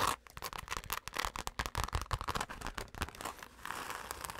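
Long acrylic nails and fingertips rapidly scratch and tap the surface of a dark glitter-covered fabric zip pouch held up close. Quick, irregular bursts of dry, crackly scratches and short taps follow one another, with an unpredictable rhythm. The last second settles into a steadier, softer rasping scratch.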